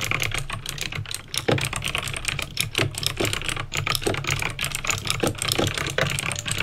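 Fingertips with painted nails type steadily on a backlit plastic mechanical keyboard with clicky green switches. A fast, uneven run of sharp, bright clicks and clacks is heard, each dying away quickly over a steady low hum.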